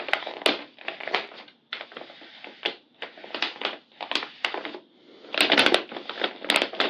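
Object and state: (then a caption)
Paper blind bag. A large, flat, Hello Kitty-shaped handmade paper blind bag with a glossy surface, filled with small paper packets and lying on a tan surface, is pressed, patted and rubbed by both hands with long purple nails. This makes a steady run of dry, bright crinkling and crackling bursts with short pauses between them. The bursts grow denser and louder near the end.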